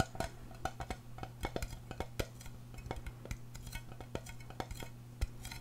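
A small, round, hollow silver aluminum tin is held in the hand and tapped on its lid and side with long painted nails. The result is a quick, irregular series of light, dry clicks and tinny ticks that die away almost instantly, over a steady low hum.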